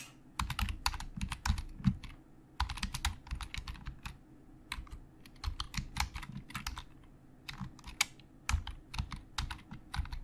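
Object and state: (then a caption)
Plastic computer keyboard. Fingertips of both hands type on a hollow black plastic Logitech keyboard. Quick bursts of sharp, bright key clicks sit over soft, low thuds from the hollow body. The clicks die away almost at once, with short pauses between runs.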